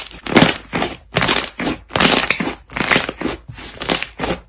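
Soft, solid pale-yellow butter slime on a light surface is folded and squeezed between both hands with the fingers and knuckles. It gives loud, crackling air-pop bursts that repeat roughly once a second in an uneven rhythm, each a dense cluster of bright, crunchy pops with short gaps between them.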